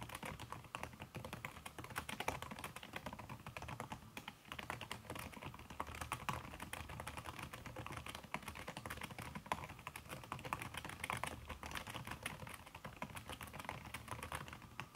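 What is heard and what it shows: Fingertips and long red nails type fast on a backlit aluminium laptop keyboard fitted with a red silicone key cover. The result is a steady, dense stream of soft, muffled taps with short dry clicks centred around 1 kHz and very little ring.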